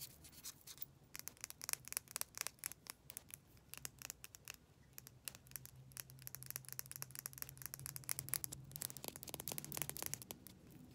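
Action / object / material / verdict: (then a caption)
tap / small plastic lip gloss tube / plastic / none. Long nails tap and scratch rapidly along a slim, hollow pink plastic lip gloss tube with a metallic finish and a cap, held in the fingers. The result is a quiet, bright stream of sharp, irregular clicks, about four per second, mixed with dry scratchy rubbing. A faint low hum runs underneath.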